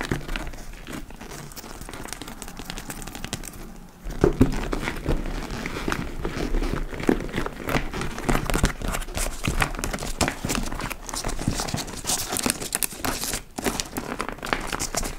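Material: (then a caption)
Leather. A large, hollow dark-brown leather (likely faux) tote bag has its flap lifted and flexed, giving soft creaks and crinkles. From about four seconds in, long nails scratch the front and top, making a louder, dense, raspy scratching with a low body and some brighter grit.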